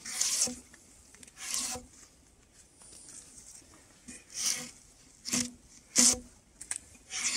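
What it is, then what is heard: Spruce log, bark being scraped off. Gloved hands pull a steel draw knife along a large, solid, round spruce log with the bark still on, lying on a log rack, scraping and peeling off the bark. Each pull makes a short, bright, raspy scraping burst with a faint low tone underneath, separated by quiet pauses.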